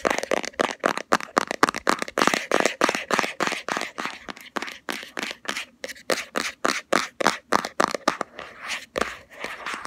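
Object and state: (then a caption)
Plastic cosmetic jar. Fingernails tap and scratch the lid and rim of a round plastic Body Shop Hemp cosmetic jar with a black body and green label. About forty quick, uneven taps and scrapes come in a fast, loose rhythm. Each is dry and bright with almost no low end, and the sound dies away almost instantly.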